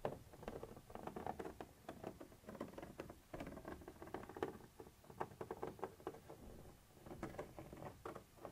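A thin metal pointer tip scratches and taps across a white translucent textured plastic surface. The result is a quiet, rapid patter of short, dry scrapes and clicks that cluster in the midrange, with faint bright edges and almost no ring after each touch.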